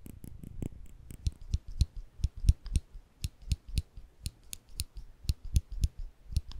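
A small rectangular metal clicker with a ridged, textured body is held in the fingertips just above the microphone while the fingers press its mechanism. About nineteen quick, dry clicks follow at an uneven pace, each a low thump with a bright, sharp tick on top that dies away almost instantly.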